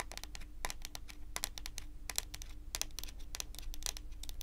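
Long pointed acrylic nails rapidly tap and lightly scratch a large, solid, glossy dark brown wooden table top. Sharp, bright clicks and faint scraping come in quick, uneven bursts, each dying away almost at once. A steady low hum runs underneath.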